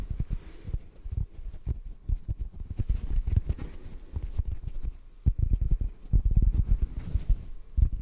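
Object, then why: Porous foam sponge. Fingertips tap a hand-sized, rectangular yellow porous sponge that is solid and dry. The result is a dense run of soft, muffled low thuds with almost no high-frequency content, each dying away almost at once.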